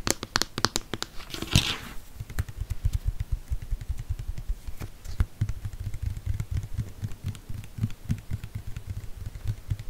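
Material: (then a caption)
Plastic. Fingernails tap rapidly on a tall white plastic Cien lotion or shampoo bottle, hollow and probably partly full, held in one hand close to the microphone. The taps give quick, dry clicks over a low, hollow thump near 98 Hz, with a brief bright scratchy burst early on. The tapping keeps up in uneven, fast bursts that die away almost instantly.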